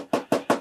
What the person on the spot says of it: it does have a plastic I know that sounds like metal because there's metal on the inside